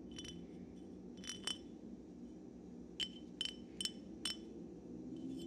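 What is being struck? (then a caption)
Glass wine bottle. A hollow, dark glass Syrah wine bottle, held upright and then tilted sideways over a pile of corks, is tapped with fingertips and nails. Several short, bright glassy clinks ring at about 3 kHz, in irregular pairs and singles over a steady low background hum, and each fades almost at once.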